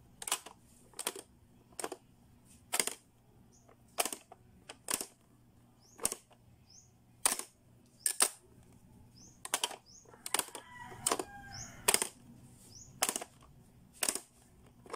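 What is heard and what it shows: Fingertips snap shut the lids and press the switches and dial of a blue, hollow, hard-plastic Playskool pop-up learning toy. Sharp, bright plastic clicks and snaps come one at a time at a steady pace and die away almost instantly. A brief rattling turn of the dial is heard between them partway through.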